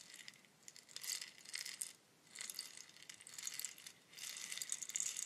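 A long, hollow bamboo rainstick is tilted by both hands, sending its inner fill pouring and rattling through the tube. The result is a soft, bright, crackling patter of many tiny quick clicks, with no low end, swelling in waves with brief lulls between tilts.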